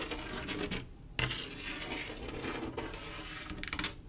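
Long acrylic nails scratch and rub across a large, solid, flat glass mosaic tile picture made of silver mirror-like tiles set in grout. The result is a steady, bright, hissing scrape with a few sharp clicks. The sound briefly dips before one sharper tick and ends in a cluster of quick, brighter strokes.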